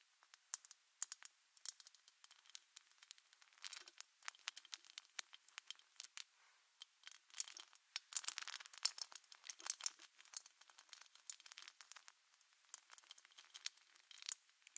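Long acrylic nails on both hands scratch and tap all over a rounded, hollow metal wire-mesh microphone grille. The result is a steady stream of quiet, bright clicks and crisp scratching with no low end. Denser scraping flurries swell around the middle of the clip.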